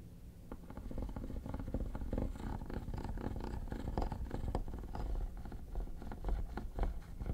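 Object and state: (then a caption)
Plastic hard-shell vanity case being scratched. Metal tweezers scratch the textured top of a hollow, mint-green quilted hard plastic vanity case. The result is a steady stream of short, rapid scratching strokes with a low, hollow, rumbling body, with little high-end brightness.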